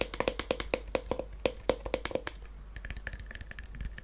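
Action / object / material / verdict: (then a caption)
tap / small wooden chest / wood / none. A small hollow wooden mini treasure chest with faux-leather straps, brass studs and a brass latch is held in the hands and tapped and scratched with fingernails. A quick run of sharp, hollow knocks with a woody mid-pitched resonance comes first, then gives way to softer, brighter scratching and light clicks.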